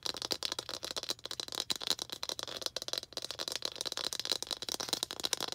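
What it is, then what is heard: Plastic ball tapped with fingernails. A small hollow red plastic ball is held in both hands and tapped and scratched with long green acrylic nails. The result is a rapid, continuous stream of light, dry clicks and scratchy rattling with a bright, high-pitched edge and almost no low end. The taps are too dense to count separately.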